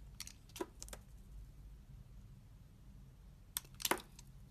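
A utility knife blade peels a thin translucent layer from a solid, translucent green Delicare glycerin bar soap held in the hand. Short, crisp, bright scraping clicks come in two clusters, near the start and near the end, separated by a quiet stretch over a faint low hum.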